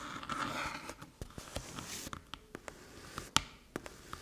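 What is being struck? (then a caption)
Small hollow aluminium USB hub. Long metallic nails tap and scratch the top of a small, flat, hollow aluminium USB-C hub resting on a dark table. A bright, hissing scratch at the start gives way to about eleven sharp, dry metallic ticks with almost no ring, centered around 1.3 kHz.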